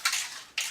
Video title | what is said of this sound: Slide Out Maintenance | there is a marble in this can, if you hear it bouncing around in there